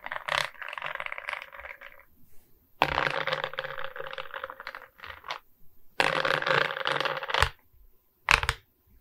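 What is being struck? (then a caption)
Resin-bead diamond painting on a wooden board. Long red nails tap and scratch across the bead face of a diamond painting made of resin beads on a wooden canvas board, and the board is then tilted to show its top edge. Dense, bright, rattly clicking and scraping comes in several sustained stretches separated by short quiet gaps, ending with a brief final burst.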